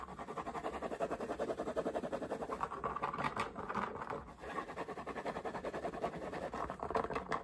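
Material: Cotton.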